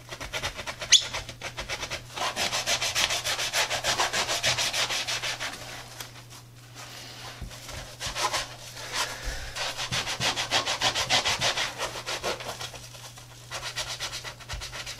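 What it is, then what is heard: Sneaker upper scrubbed with a brush. A tie-dye Adidas sneaker of textile and rubber, held in gloved hands, has its upper scrubbed with a wet, soapy brush. Rapid, bright, hissing brush strokes come in two long bursts, with a brief lull in between and a quieter trail-off at the end, over a steady low hum.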